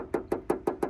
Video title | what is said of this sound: 2013 మోడల్ పెట్రోల్ కార్ ఒరిజినల్ గ్లాస్ & పెయింట్ కేవలం:175000 SOLDOUT 🙌 | గోరుతో కొట్టినప్పుడు రంగు పడితే కచ్చితంగా సౌండ్ చేంజ్ అయితది